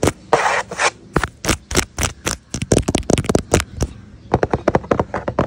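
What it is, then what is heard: Cardboard pizza box. Fingertips and short nails, with a metal ring worn on one finger, scratch and rub the printed lid of a large, flat, hollow corrugated cardboard Shakey's pizza box. A couple of longer, broad scraping rubs open into a rapid series of short, crisp, dry taps and scratches, which pause briefly before a quicker burst. The hand lifts briefly at the end.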